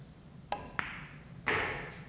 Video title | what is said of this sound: Joss Pool Cue Review | these triangle tips are they're good tips but they're very hard so that's where you're getting that sound